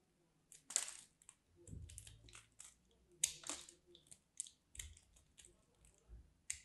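A small craft knife cuts thin slivers off a solid, dry pink bar of soap. Each cut gives a quiet, bright, crisp scraping crunch, and the cuts come in an irregular series with soft low thuds between some strokes.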